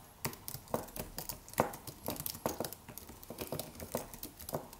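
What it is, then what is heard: Wireless keyboard being typed on. Fingertips of both hands type rapid taps on a slim white Apple-style wireless keyboard with an aluminium body and white plastic keys. The result is a quiet, irregular stream of short, crisp clicks with bright attacks and a light midrange knock. Each tap dies away almost instantly.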